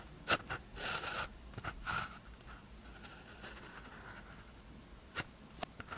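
A blue ballpoint pen tip scratches across a thin white paper practice sheet with a red grid lying flat, writing strokes. Short, bright scratchy bursts, some sharp and some drawn out, are heard between quieter stretches of faint pen-on-paper friction, with a scraping tone centered near 1.5 kHz.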